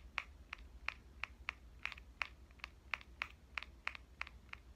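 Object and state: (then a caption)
Metal compact camera. A small pink metal Canon compact camera, turned from upright to horizontal, has its front body tapped with fingernails and fingertips. Each tap is a quiet, sharp, bright click centered around 2 kHz that dies out almost instantly. The taps come in a steady, evenly spaced series over a faint low hum.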